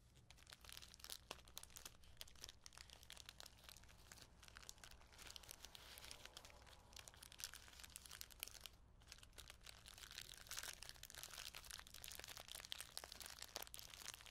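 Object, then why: Small plastic bag filled with plastic sequins. Hands with long nails crinkle and squeeze a small clear plastic bag full of metallic plastic sequins with a paper label. A dense stream of bright, crisp crinkles and rustles continues throughout, over a faint steady low hum.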